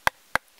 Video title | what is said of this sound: DIY Bluetooth Speaker from Cardboard Pipe - Homemade Powerful Speaker | feels just like wood you can hear when I tap it it's just like wood but it's cardboard